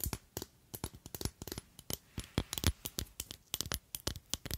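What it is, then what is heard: Glass perfume bottle. Long acrylic nails tap and scratch along a long, slender clear glass perfume bottle with a red cap that holds liquid. More than twenty short, bright clicks come in uneven bursts, each dying away almost instantly, with a faint scratchy rasp between some taps.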